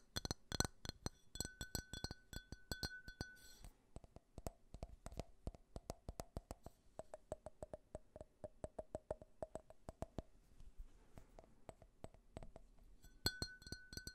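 A small, empty, clear faceted drinking glass is held close to the microphone and tapped and clinked rapidly with fingernails. At the start and end, the taps ring bright and glassy, with a sustained tone near 1.5 kHz and high shimmering overtones. In the long middle stretch, the taps turn duller and shorter, settling on a lower tone around 650 Hz.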